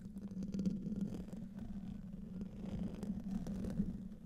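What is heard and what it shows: Medium-length fingernails of both hands scratch the hollow metal mesh grille of a silver condenser microphone. The result is a continuous, low, rough rumbling scrape with a steady hum-like tone near 200 Hz, with little high content.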